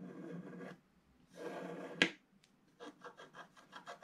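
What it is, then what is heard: Wax-coated scratch art paper being scraped. A wooden stylus slowly scrapes the black wax coating at the lower right of a flat scratch art paper sheet. Two long, grainy rasping strokes are followed by a sharp tick, then a series of short, quick scratches with a bright, dry texture.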